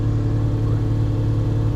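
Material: Nothing is struck.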